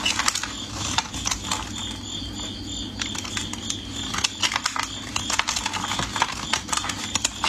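A metal craft blade scrapes and cuts thin flakes off the surface of a solid, translucent, palm-sized orange bar of soap held in gloved fingers, in repeated scraping strokes. The cuts come as quick, crisp, bright scratches and clicks that die away almost at once, with a faint steady low hum underneath.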